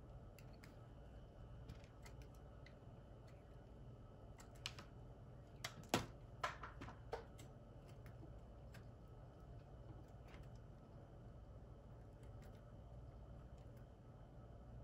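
A small, solid white chunk of soap held in the fingers is carved with the metal blade of a red-handled utility knife. Faint, sparse cutting clicks and scrapes sit over a steady low hum, with a brief cluster of sharper, brighter cuts near the middle of the clip.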